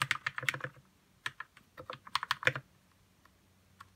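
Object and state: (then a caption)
Plastic mechanical keyboard being typed on. Fingertips type on a white 60% RK61 mechanical keyboard with plastic keycaps and lubed red switches. Two quick bursts of short, bright clacks are separated by a pause, then a single keystroke follows near the end. Each press is crisp with almost no ring.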